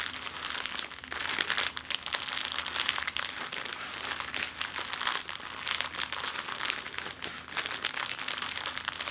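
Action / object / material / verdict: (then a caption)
scrape / plastic zip-lock bag / plastic / none. A clear plastic zip-lock bag lying flat on a wooden table is pressed, flexed and scratched with long nails. This produces a dense, continuous, bright crinkling with sharp crackles and a steady, faint low hum underneath.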